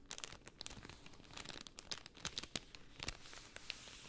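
A layered pink cellophane sheet is bent and crinkled with both hands by fingers with long painted nails. It gives a soft, steady stream of dry, bright crackles, with sharper snaps standing out now and then. The sound stays quiet throughout.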